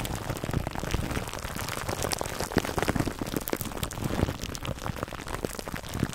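Fingertips scratch clear plastic cling wrap stretched over a black foam microphone windscreen, making a dense, continuous crackling and crinkling with a soft low rumble. The sound keeps steady throughout, with brief louder pops and bright ticks scattered across it.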